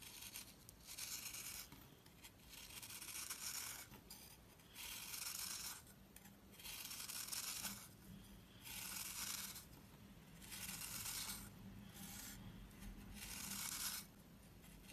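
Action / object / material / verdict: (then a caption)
scrape / soap disc scraped by a knife blade / soap / none. A knife blade scrapes the powdery surface off a round, solid, crumbly green soap disc held in the palm. The clip is a series of slow, repeated dry strokes, each a bright, gritty rasp with short pauses between them. A faint low hum runs underneath throughout.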